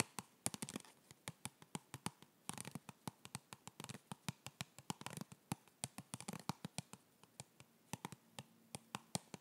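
A hollow white printed cardboard box from a yoga block is held close to the mic and tapped and scratched with fingertips. About 46 dry, quickly fading taps are heard, mixed with short bursts of scratchy rustling.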